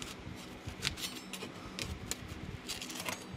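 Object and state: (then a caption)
Drywall patch of dried joint compound being scraped. A wide metal putty knife, held by hand, scrapes repeatedly across a small patched spot of dried joint compound on a flat, painted, solid gypsum drywall wall, catching on the compound's edge. The result is a quiet run of bright, scratchy rasps punctuated by short, sharp ticks and clicks that die away almost instantly, over a faint low rumble.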